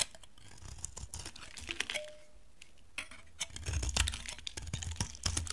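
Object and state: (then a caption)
Dry bar of soap being carved. A palm-sized, solid orange bar of dry soap, held in one hand, is carved and scraped with a steel utility knife blade, with shavings peeling off onto a white surface. Quick, crisp scraping and clicking strokes come in dense bursts, bright and papery, over a soft low rumble, with a brief quieter pause partway through.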